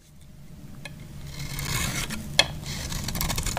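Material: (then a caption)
Soap. A metal utility knife blade shaves and cuts into a solid, hand-sized, oval bar of dry purple soap held in the palm, scraping off crumbly flakes. Dry, gritty scraping builds from quiet to a steady bright rasp, broken by one sharp click partway through.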